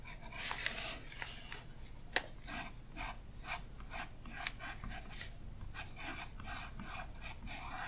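A graphite pencil rubs and scratches short shading strokes across thin tracing paper laid over a printed page of an open art book, while the other hand, with orange painted nails, rests flat on the sheet. The result is a steady run of quick, dry, bright scratchy strokes with a soft rasping texture and almost no ring.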